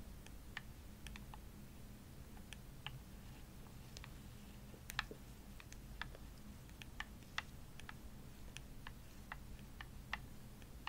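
Long nails tap the shell and buttons of a hollow, purple, glossy plastic Xbox controller held in both hands. The taps are quick, dry, bright clicks that die away almost instantly and come at an irregular pace over a quiet, steady low hum.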